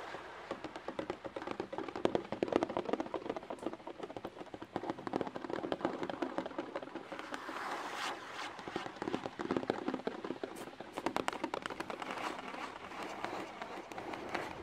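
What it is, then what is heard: Cardboard box. Long painted nails tap rapidly on a flat, hollow white cardboard box held in front of the microphone. The result is a dense, uneven stream of dry, papery clicks with a hollow midrange body, each tap dying away almost instantly. Some stretches swell brighter and louder before easing back.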